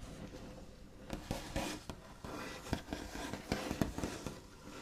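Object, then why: Wooden table top. The backs of the nails of both hands tap and trace across a large, solid, smooth, light-coloured white-finished wooden table top. About nine quiet, scratchy taps stand out from a soft, continuous scraping. Each tap is dull and low-bodied and dies away almost at once.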